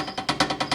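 A closed metal tree stand is shaken, and its parts rattle and knock together at loose contact points such as the bolt under the seat, even with the strap tightened. Six sharp metallic clanks are heard in quick succession. The rattle is a fault, because it is noisy when carrying the stand in and out of the woods.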